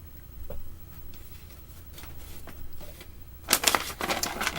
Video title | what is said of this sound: Pink ,Purple, Blue Glitter Eye Shadow Look | You shake it until you hear the ball moving, and that helps to mix up the stuff inside.